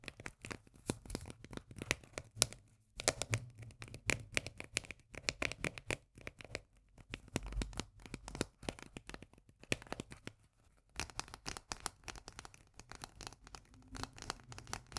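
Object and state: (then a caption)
Steel food can tapped with fingernails. A small, full steel can of corn with a paper label is turned in the hands and tapped with long nails, first on its side and then on the pull-tab lid. Quick, crisp, bright taps and clicks mix with papery crinkling and scratching, with brief pauses around 3, 7 and 11 seconds.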